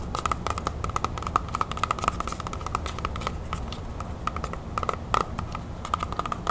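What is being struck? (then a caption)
Whole apple. Long nails tap and scratch the skin of a whole, large, solid red apple held up close. There is a rapid, uneven run of short, sharp taps with a clicky ring near 1.3 kHz, mixed with light scratching over a steady low background rumble.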